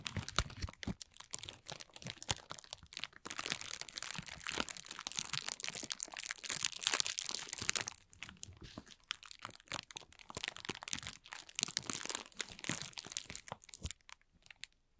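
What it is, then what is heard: Clear plastic film. Thin, clear plastic film bunched into a loose, hollow, empty ball is held in both hands and crinkled and squeezed with fingertips and short nails. It makes dense, bright crinkling and sharp crackles that run almost continuously, with brief lulls and a dense stretch in the middle. The sound thins out and fades near the end.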